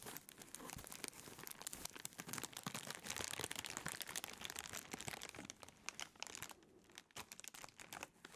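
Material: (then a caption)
Plastic. A clear, thin plastic bread bag with a loaf inside is held up in the hands and crinkled while being opened. It makes a dense, continuous crumpling and crinkling with many sharp, bright crackles over about eight seconds, easing slightly near the end.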